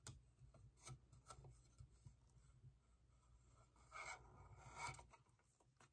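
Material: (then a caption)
Vinyl. Fingernails rapidly tap and scratch the sides and rods of a small hollow vinyl hourglass figure held in one hand. The result is a quiet, dry, rasping scratch with soft clicky taps over a faint low hum. Two brighter, louder bursts of scratching stand out near the end.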